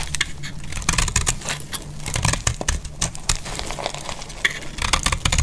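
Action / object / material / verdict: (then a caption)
scrape / soap bar scraped with a metal blade / soap / none. A metal blade scrapes shavings off the edge of a solid, faceted bar of dry green soap held in the hand. A steady run of crisp, crackly scraping strokes sounds bright and gritty over a low, dull rumble.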